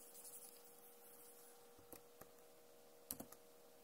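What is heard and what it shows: Long nails tap and type on a backlit plastic laptop keyboard, giving five short, sharp, bright clicks spread over the last half of the clip. The clicks stand out over a quiet, steady background hum with a faint low tone.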